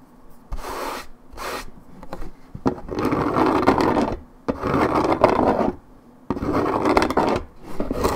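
A hollow 1.75 L Minute Maid orange juice carton made of coated paperboard, fill level not visible, is held in one hand and scratched with long painted nails across its printed top side. Several rough, raspy scratching bursts of uneven length are heard, centered in the midrange and separated by short quiet gaps.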